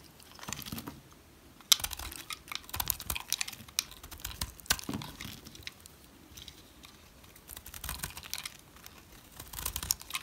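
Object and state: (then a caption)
Dry soap bar scraped with a knife. A utility knife scrapes the surface of a dry, solid brown rectangular soap bar. Bursts of dry, bright, crackly scraping come in uneven clusters with brief quiet gaps, each scratch short and without ring.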